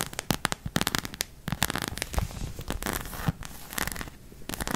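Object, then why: Hollow plastic anatomical figure. Long nails tap and scratch the back of a white plastic acupuncture figure. The result is a dense run of sharp, dry clicks mixed with scraping and crackling that cover the range from low thumps to bright highs. The hits come in uneven bursts.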